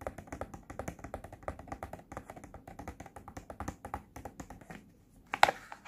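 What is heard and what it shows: Fingertips and nails tap quickly and steadily on a small, flat, pink printed cardboard Cooky face point mask box lying on a blue surface, making light, dry clicks with a papery mid tone. Near the end, after a brief pause, there is a louder, brighter crinkling burst as the box is turned from back to front, followed by a few more taps.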